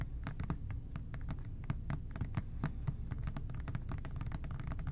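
A medium-size, hollow OxiClean plastic trigger spray bottle, with no liquid visible inside, is held in both hands and tapped with fingertips and short nails. Rapid, soft, irregular taps and light clicking scratches form a steady patter with a dull, low, hollow body. Each tap dies away almost at once.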